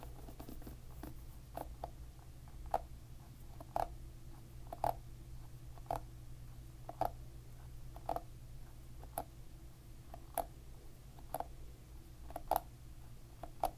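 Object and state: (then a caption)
Plastic-pin hairbrush. A finger flicks the plastic pins of a plastic-pin hairbrush held upside down, making short, dry clicks with a faint pinging tone around 750 Hz. The louder flicks come roughly once a second among softer ticks, over a steady low hum.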